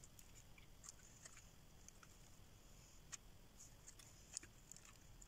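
A solid green rectangular dry soap bar, held in hand, is scraped with a metal blade as shavings curl off. The result is a quiet, steady, bright scratching hiss with irregular small clicks and crisp ticks over a low rumble.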